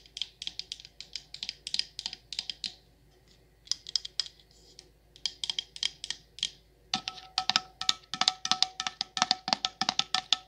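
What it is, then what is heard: Candle jar with metal lid. Long nails tap the sides and the copper metal lid of a patterned candle jar in quick runs of bright, sharp clicks. The clicks come in bursts separated by short pauses, and the final stretch is louder and denser, with a faint steady ringing tone under the taps.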